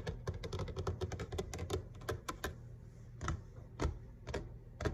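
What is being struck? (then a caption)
Laminate kitchen countertop. Both hands tap rapidly with fingertips and short nails on a flat grey laminate kitchen countertop over a solid base. The crisp, dry taps have a dull low thud beneath them and die away almost instantly. They come in a quick, uneven flurry at first, then thin out into sparser, sharper taps.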